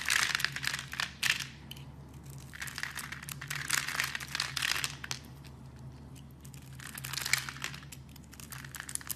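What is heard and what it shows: A metal blade carves scored cubes off a solid, hand-sized yellow soap bar. Three bursts of crisp, bright crinkling and crunching scrapes are separated by quieter pauses, with a faint steady low hum underneath.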